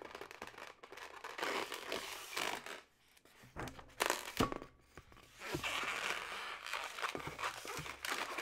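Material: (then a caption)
Latex. A yellow, twisted latex modelling balloon, hollow and air-filled, is tapped and scratched by long nails, then squeezed and twisted by hand. Bright rubbery squeaks, crinkling scratches and soft taps come in uneven bursts, with a quieter gap around the middle.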